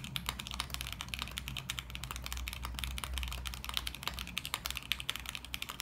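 Fingertips of both hands type continuously on a small 40% mechanical keyboard with beige plastic keycaps in a clear, RGB-lit acrylic case resting on a desk mat. A rapid, steady stream of short, bright clacks with almost no ring rides over a faint low hum throughout.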